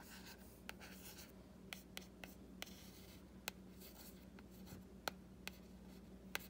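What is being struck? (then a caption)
Hardcover book with printed board cover. Fingernails and fingertips scratch and trace along the drawing on the printed board cover of a solid hardcover book. Soft, hissy scratching runs underneath a scattered series of sharp, dry clicks with almost no ring, over a quiet, steady low hum.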